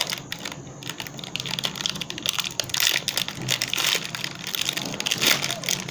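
A small Peak Freans Chocolate Sandwich snack pack, with biscuits inside a thin foil-lined, metallized plastic wrapper, is held close and crinkled, then torn open and peeled apart by the fingertips of both hands. The sound is a dense, bright crackle of crinkling plastic with sharp snaps and tearing rustles that rise and fall throughout.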